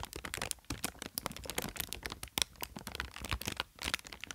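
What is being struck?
Inflated plastic air cushion packaging.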